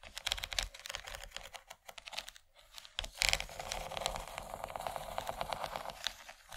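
Long nails tap across the surface and corn-cob relief ridges of a large, empty yellow plastic tray. The result is a quick, steady stream of dry, bright clicks and scratchy ticks with little low end, briefly louder around the middle.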